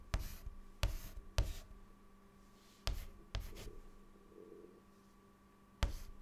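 A white chalk stick writes short strokes on a large, flat, dark, solid chalkboard. Six sharp taps each start a brief, dry scratch, with a quieter scraping stretch in the middle. A faint steady hum sits underneath throughout.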